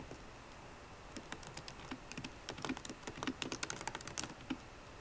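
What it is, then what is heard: Laptop keyboard with plastic keys. Typing on a MacBook Pro laptop keyboard with plastic keycaps in an aluminum body, using long nails and fingertips. After a quiet first second, rapid, irregular clicky taps follow, each short and dry with a bright, high edge and a soft low thud. The taps come in uneven bursts, growing denser and louder toward the middle before easing off at the end.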